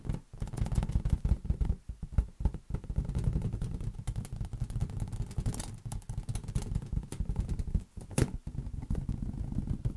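A large, hollow, air-filled green latex balloon is tapped rapidly with the fingertips of both hands. The result is a steady stream of dull, low, boomy thumps that sit almost entirely in the bass, centered around 109 Hz. Each tap dies away almost at once, with no bright ring.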